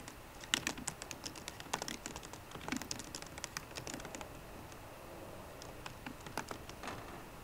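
Fingertips and short green nails tap steadily across the low-profile plastic keys of a 13-inch aluminum MacBook Pro keyboard. Dozens of quick, dry, bright clicks come in uneven bursts with brief pauses, each stopping almost instantly over a faint background hiss.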